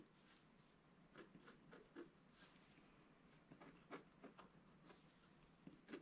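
A wooden scratch stylus drags rasping strokes into the black coating of a solid scratch-art page in a book lying flat on a table. The quiet, dry scratching comes in irregular short strokes, each a brief bright hiss with a faint grainy body. A few sharper scrapes stand out, and each stops almost instantly.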